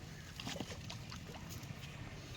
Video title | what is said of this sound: CoconutFarming🥥🌴🏝️Coconut Kuridi Business,Profits,DryCoconut🥥cutting#coconutwater🥥#farmer#shorts#yt | ఊపి చూస్తే నీళ్ళు ఉన్నాయో లేదో మనకి సౌండ్ తెలుస్తుంది.